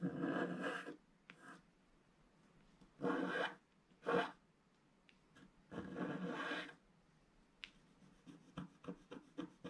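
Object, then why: Wax-coated scratch-art paper scraped with a wooden stylus. A wooden stylus scratches a flat, black, wax-coated scratch-art paper sheet in short strokes. Bursts of dry, raspy scraping come first, followed by a run of quick, light scratches near the end.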